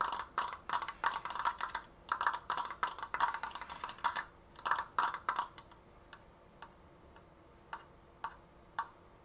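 Long painted nails tap quickly on the thin slats of a large, stained wooden Triforce frame, producing sharp, dry clicks centered around 1 kHz in dense, uneven bursts. After about five and a half seconds the tapping thins out to a few isolated, spaced clicks.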